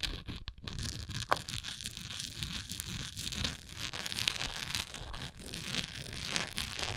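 Long nails scratch and tap a textured plastic Tums antacid container. The result is a continuous, bright, crackly rasp with quick ticking taps mixed throughout, with most of the energy in the high frequencies.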